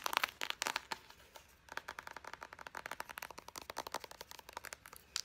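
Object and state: Plastic squeeze tube of body butter.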